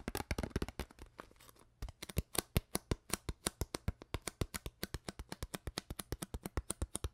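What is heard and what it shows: An empty, hollow, clear ridged plastic water bottle with a white cap and no label is squeezed and crinkled with fingertips and long nails. The result is a rapid, dense flurry of sharp, dry plastic crackles that settles into a steady run of distinct clicks. Each one is brief with almost no ring.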